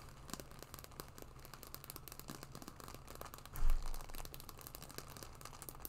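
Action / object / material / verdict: scrape / small embossed patent leather wallet / patent leather / none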